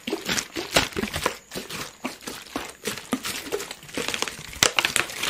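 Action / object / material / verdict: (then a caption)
scrape / thin plastic water bottle / plastic / none. A clear, thin, hollow PET plastic water bottle is squeezed and crumpled in the hand. It gives a dense run of dry, bright crinkling cracks and crunches with almost no low end, each snap dying away almost instantly.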